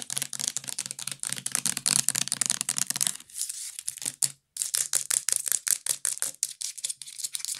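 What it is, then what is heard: Plastic bath liquid bottle. Long nails tap quickly on the label area and white cap of a full purple plastic bath liquid bottle held close. The result is a dense run of crisp, bright, dry clicks with almost no ring, briefly pausing before resuming in an uneven rhythm.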